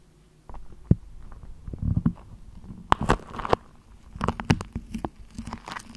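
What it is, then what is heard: Printed paper wrapper being crinkled and scratched. A thin beige printed paper sheet, held spread out in front of a microphone, is crinkled and scratched with long nails. After a brief quiet start, soft rustling gives way to bursts of sharp, dry crackles and scratches that come and go.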